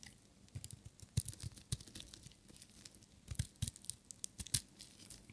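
A metal utility knife blade cuts a solid, dry, green and white striped bar of soap thinner and shaves it. Irregular crisp crunches and scraping crackles come through, each with a dull low thump under a bright, brittle edge. The louder cuts stand out against a soft continuous shaving rasp.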